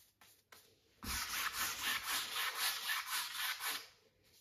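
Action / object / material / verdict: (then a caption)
scrape / stretched cotton canvas on a wooden frame, rubbed with a wide flat brush / cotton canvas / none. A wide flat paint brush rubs in quick horizontal strokes across the lower area of a stretched cotton canvas on a wooden frame, set on an easel with hollow space behind the fabric. After a quiet start with faint light touches, a steady run of dry, bright, scratchy swishes pulses in an even rhythm for about three seconds before fading back to near silence.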